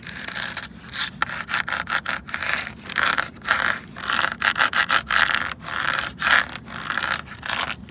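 Fingertips and nails rub and scratch a large hollow red plastic traffic cone or bollard standing on pavement, with a small dark tool or pen at its ridged top. Quick, uneven bursts of dry, hissy scraping come in rapid strokes, with a bright band centered near 1.7 kHz and almost no low end. Each stroke stops short with no ring.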